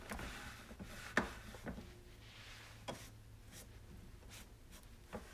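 Hands rub a cloth over the reservoir lid and top of a white, hollow plastic coffee maker, making a quiet, steady scuffing. Four short, sharp taps or knocks stand out, with the plastic's hollow low body under the wiping.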